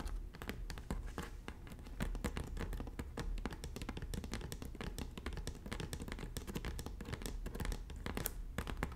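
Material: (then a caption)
Straw. Both hands with long natural nails tap rapidly on the braided straw of the hollow front panel of a red woven straw bag. The result is a dense, steady patter of short, dry clicks with a soft, low, hollow thump beneath them, each tap dying away almost instantly.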